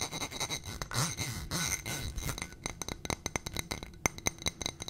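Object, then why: Ribbed glass footed dish. A ribbed glass footed dish with a gold rim and stem, full of white contents, is scratched and tapped with long nails. For the first two seconds, there is a rough, continuous scraping. It then turns into a rapid run of sharp, bright glassy clinks with a faint high ring that dies almost at once.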